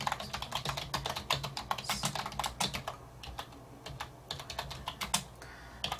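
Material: Plastic.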